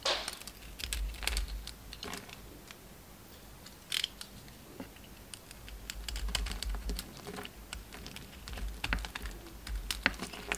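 A utility knife blade shaves curls from a solid, hand-sized pink oval bar of soap with leftover red coating. The scraping and cutting make a rapid series of short, crisp, bright ticks and scratches, each dying away almost instantly, over a steady low hum.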